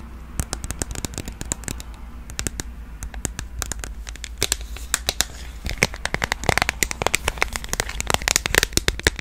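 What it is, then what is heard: Smartphone in a plastic case. A smartphone in a purple plastic case with clear edges is held upright and tapped and scratched with long nails along the case back and rim. Rapid, sharp, bright clicks and scratchy crackles sit over a steady low hum, growing louder and denser in the second half.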